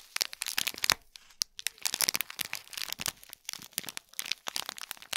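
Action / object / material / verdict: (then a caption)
scrape / small gift box wrapped in metallic foil film / metallic foil / none. Long fingernails scratch and tap the shiny gold metallic film wrapping a small hollow cube gift box tied with gold cord, and a hand tilts the box at the end. The result is a dense run of bright, crisp crinkles and short crackling taps with almost no low end.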